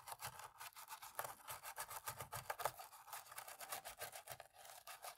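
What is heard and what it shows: A thin cotton-tipped stick scrubs and scratches into the gaps between the black plastic keys of an open, dirty black laptop keyboard, using short rapid strokes. The result is a quiet, steady run of dry, bright, scratchy rasps with almost no low end and no ringing after each stroke.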